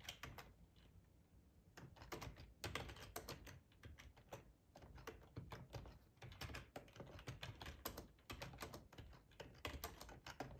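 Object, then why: Plastic computer keyboard. Fingertips of both hands type on a black plastic, full-size ergonomic split keyboard resting on a cloth tablecloth. Quick bursts of clicky keystrokes, each a soft low thud with a bright tap on top, are broken by short pauses. The typing speeds up into dense runs.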